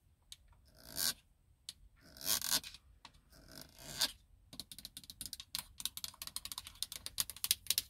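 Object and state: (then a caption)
Plastic car console buttons. Long nails scratch across the plastic buttons and silver trim of a car's center console control panel in a few slow, rising swells of bright, hissy friction. They then switch to a fast, uneven run of sharp, crisp taps on the buttons that stop almost instantly.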